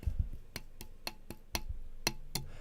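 A carbon fiber micro quad frame without Nyogel is tapped seven times, each tap giving a sharp, bright click with a brief ring over a low rumble. This frame rings out longer than a comparison frame that has Nyogel, though the comparison is unfair because the two frames have different arms.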